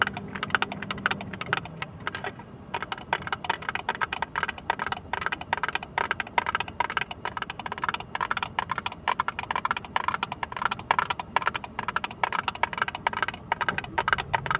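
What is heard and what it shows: A small, closed, hollow blue plastic hinged box with an embossed pattern is tapped quickly with fingernails. The result is a steady, dense stream of dry, clicky taps with a bright edge that die away almost instantly, centered in the upper mids around 1.5 kHz. A faint low hum sits underneath at the start.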